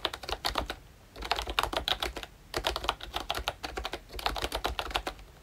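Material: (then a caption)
Plastic. Fingertips type continuously on a pink and brown plastic ROYCHE Disney Mickey Mouse retro membrane keyboard, producing quick, bright clicky taps. The typing comes in three bursts separated by brief pauses.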